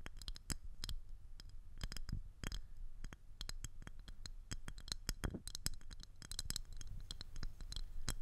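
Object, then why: Thin rigid plastic ring or disc. Long acrylic nails tap and scratch the surface and edge of a thin, rigid, clear plastic ring disc with a hollow center, fitted around a microphone head. Rapid, uneven dry clicks with bright, crisp tops and brief scratchy strokes sit over a steady low rumble. Each tap dies away almost instantly.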